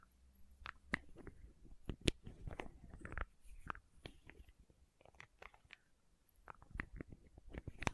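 Long nails tap and scratch the red plastic cap and body of a small labeled plastic condiment bottle. Quiet, irregular clicks and scratchy taps come with soft low thumps and a few sharper, brighter ticks. The hits are dry and die away almost at once.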